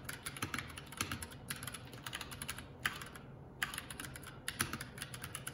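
Fingertips of both hands type continuously on a Keycool K84 75% mechanical keyboard with plastic keycaps. Rapid, bright, sharp clacks follow one another with brief pauses, over a low, steady rumble.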